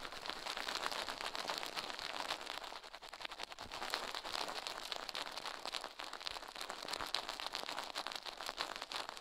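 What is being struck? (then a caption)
Silicone ear on a binaural microphone. Toothbrush bristles brush and scratch fast across the left soft silicone ear of a binaural microphone on a metal mic plate, while the other gloved hand rests. A dense, continuous crackling scrape with bright, hissy texture and many rapid strokes runs throughout, dipping slightly in level around the middle.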